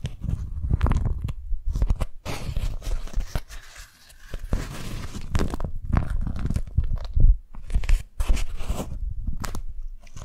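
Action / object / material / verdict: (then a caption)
scrape / beeswax-coated cotton wrap / waxed cotton / none. A single thin, stiff, pink printed beeswax-coated cotton food wrap, about 30 cm across, is held in both hands while fingers and long nails crinkle, grip and rub it as it unfolds. Dense, close crackling and crunching rustles come in waves, heavy in the low end, with brief quieter lulls near 4 and 8 seconds.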